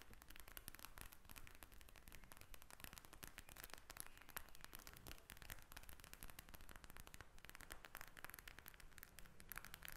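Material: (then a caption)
Plastic. A pink eye mask made of a clear plastic shell filled with gel beads lies flat on a table while long acrylic nails tap and scratch its surface. Dense, rapid crackly clicks and scratchy rustles run steadily throughout, with short dry taps over a low, soft rumble.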